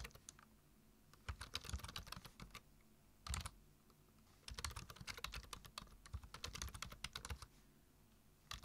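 Fingertips type on the keys of a black plastic computer keyboard, producing quick bursts of clicky, bright key taps separated by short pauses. The tapping comes in flurries, each press clicking sharply with a dull low thud underneath and fading almost at once.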